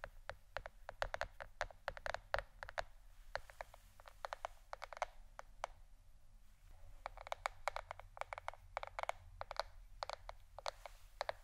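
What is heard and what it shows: A plastic board shaped like a shirt is tapped with the fingernails for ASMR. Quick, crisp clicky taps come in rapid bursts with short pauses between them, each dying away almost instantly. They sit over a faint, steady low hum.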